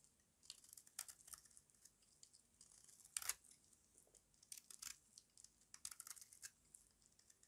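A small metal blade with a yellow handle carves crunchy flakes off a solid, square, embossed bar of dry white soap held in the palm. Quiet, bright, crisp scraping crunches come in quick irregular bursts, the loudest cut landing around the three-second mark. Each crunch stops dry with no ring.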